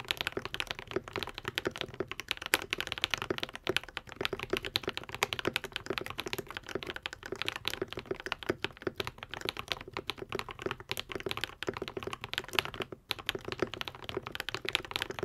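A modded Epomaker TH80, a white and pink 75% mechanical keyboard with Akko V3 Cream Yellow switches and plastic keycaps, is typed on continuously with the fingertips of both hands. A rapid, steady stream of short, bright clacks and taps snaps off almost instantly, with little low-end thump.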